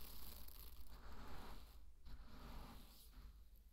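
Two handfuls of dry pearl barley are scooped up and poured back onto a bed of the same grain. Each pour makes a soft, grainy rustling hiss as the kernels trickle down, over a steady low hum.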